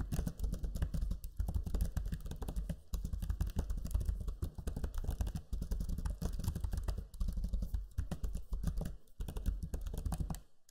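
Fingertips type steadily on the low-profile plastic keys of a backlit black Lenovo Legion 5 laptop keyboard, producing rapid, short clicking taps over a deep low rumble. Brief pauses break the flow, and the sound fades near the end.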